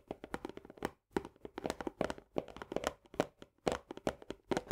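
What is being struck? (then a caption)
Paperboard canister with plastic lid. Long nails on both hands tap and scratch fast on the upper wall of a medium paperboard Orzo Bimbo barley canister, near its green plastic lid. The result is quick, dry, hollow clicks with a papery scratch and a mid-pitched body, coming in rapid bursts with a short pause near the one-second mark.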